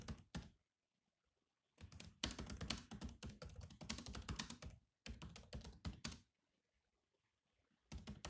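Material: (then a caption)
Plastic. Fingertips type on a grey laptop keyboard with black plastic keys, producing bursts of quick, dry clicky taps separated by short silent pauses. Each keystroke is brief, with a low thudding body and a bright click on top, and the rhythm is uneven.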